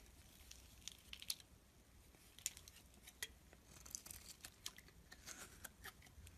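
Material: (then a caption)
Soap. A metal blade scrapes across a solid mauve bar of soap held in the palm, carving off curled shavings. The sound is quiet, dry and high-pitched, made of short crisp scraping strokes with a few sharper clicks. It has little low end and almost no ring.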